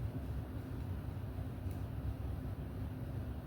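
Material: Nothing is struck.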